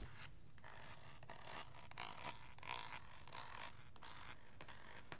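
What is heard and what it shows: Fingernails and fingertips scratch and tap the smooth, curved shell of a hand-sized, hollow plastic aroma diffuser that is lit from inside and held in one hand. The result is quiet, irregular bursts of bright, zipper-like scraping with a faint tone near 1 kHz. These sit over a steady low rumble.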